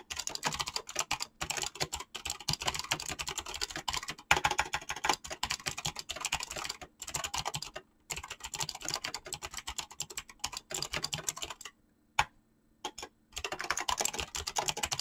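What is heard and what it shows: Fingertips type fast on a mechanical keyboard with clicky switches and PBT plastic keycaps, producing a dense stream of bright, short clicks. The typing comes in bursts separated by brief pauses, with a longer silence near the end before it resumes.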